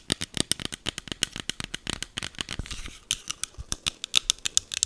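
Long green acrylic nails tap and scratch a small green plastic e.l.f. setting mist bottle held near the mic. A fast run of sharp, bright, dry clicks with almost no ring and little low end is broken by a short, hissy scratching stretch before the tapping picks up again.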